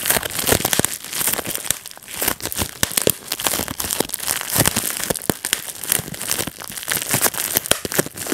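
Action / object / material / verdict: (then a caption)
tap / plastic bubble wrap sheet / plastic / none. A clear plastic bubble wrap sheet is squeezed between thumbs and fingertips, and its bubbles pop one after another. Sharp, bright snaps burst out in quick irregular runs over a steady crinkling rustle of plastic, and each pop cuts off almost at once.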